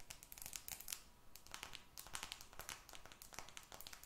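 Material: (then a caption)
Glass, aluminum. A glass and aluminum smartphone, with a glass screen and metal frame, is held close and tapped and scratched by long red nails. Quick, bright clicks and scratchy crinkles come in dense clusters with very short decay. They sit over a faint low rumble.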